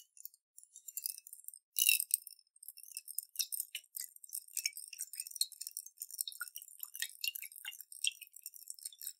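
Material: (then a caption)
Glass. A clear glass jar with a metal lid, holding water and beads, is held sideways and shaken by hand so the water and beads rattle inside. The sound is a quiet, dense, irregular stream of bright, short clicks and tinkles with almost no low end, briefly swelling louder near the two-second mark.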